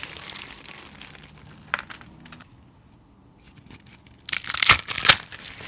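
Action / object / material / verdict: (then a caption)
scrape / pile of dried soap flakes / soap / none. Hands with long painted nails scoop, squeeze and crush handfuls from a large loose pile of dry, brittle recycled soap shavings and flakes in white, yellow and blue on a dark surface, rubbing the flakes together. The result is bright, crisp crinkling and crunching that fades to a quiet stretch in the middle, then returns as a louder burst of sharp crackles near the end.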